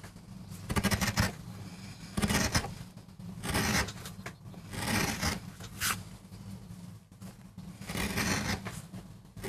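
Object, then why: MDF board carved with a metal gouge. A metal gouge carves and scrapes fine lines into a small, flat, solid MDF board, cutting a rose design for a relief print. Irregular bursts of dry, bright scraping and rasping repeat over a steady low hum, each stroke swelling and fading.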